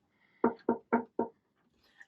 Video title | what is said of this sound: Insight into my prosthetic legs as a double amputee | they are made of a hard carbon material so if I tap it you can hear it